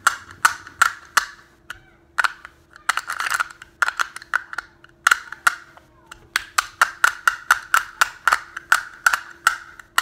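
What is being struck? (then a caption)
Small plastic snap case. Fingers tap a small hollow teal and green plastic case with a printed design and click its halves together. Sharp, dry clicks with a bright edge and a hollow midrange ring die away almost instantly, coming in irregular bursts at first and then in a steadier, quick rhythm.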